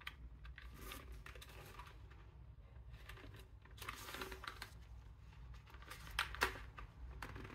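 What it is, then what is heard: Plastic computer keyboard. Black-gloved fingertips type on an old, yellowed Japanese Apple keyboard, a full-size, hollow-bodied board with a translucent plastic case, dark plastic keycaps and its cable draped over it. Soft, quick plastic clicks and taps come in irregular bursts over a steady low hum, with a couple of sharper, louder clacks near the end.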